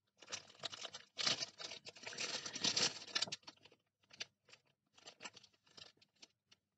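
A clear, thin plastic bag full of small colored soap bars is held in both hands while fingers squeeze it and nails scratch it. The plastic gives off bright, dense crinkling for the first few seconds, then breaks into sparser short crackles and scratches separated by brief silences.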